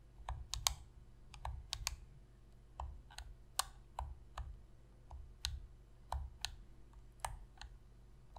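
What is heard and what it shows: Long fingernails tap and click the face buttons of a black, hollow plastic PlayStation controller. The result is a quick, uneven series of sharp, bright, dry clicks with almost no ring, over a low steady hum.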